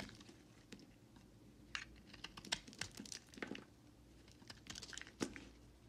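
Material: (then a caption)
Soap. A utility knife blade scrapes and carves shavings along the edges of a solid white bar of soap held in the hand. The result is a series of soft, dry scraping and crisp crunching strokes with bright, high-pitched texture, spaced irregularly over a quiet background.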